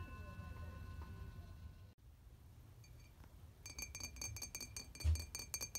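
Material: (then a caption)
Glass. In an antique shop, an antique glass object is tapped, producing a quick series of bright, short glassy clinks with high ringing tones. Before the tapping, there is a faint steady tone and low background rumble.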